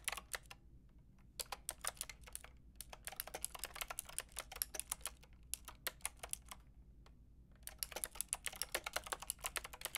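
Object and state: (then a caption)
Plastic mechanical keyboard being typed on. Fast fingertip typing with long red nails on a Lofree plastic mechanical keyboard with a translucent plastic frame and round plastic keycaps. Bright, sharp clicks sound in quick bursts of about 54 keystrokes, with short pauses between runs and a faint low hum underneath. Each click stops almost instantly.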